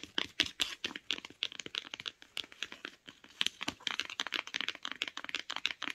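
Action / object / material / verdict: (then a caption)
tap / cloth-covered hardcover book spine / cloth / none. Long nails tap and scratch along the spine of a beige cloth-bound hardcover book held in the hand. A rapid, uneven series of dry, crisp clicks and scratchy strokes follows, each fading almost instantly. The sound is bright and thin, centred around 3.3 kHz, with no low end.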